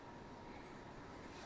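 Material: Nothing is struck.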